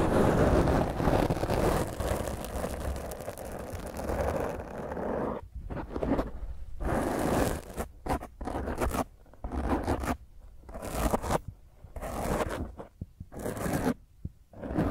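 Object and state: Foam microphone windscreen being scratched.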